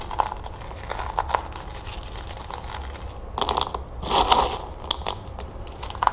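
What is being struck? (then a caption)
Puffed corn cereal balls in a plastic bowl. Small, dry puffed corn cereal balls are crushed and crumbled between fingertips with long nails, above and inside a plastic bowl. Quick, dry crunches and crinkly crackles are heard, with denser bursts of crumbling around the middle and later in the clip. The crunches are bright, with short snaps that die away almost instantly.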